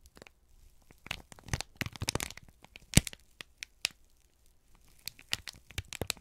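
A folded, crinkled sheet of brown kraft paper is held in both hands and squeezed and rubbed with the fingertips. It makes irregular bursts of dry, bright crinkling and crackling, with quiet gaps between clusters and one sharp, louder crack near the middle.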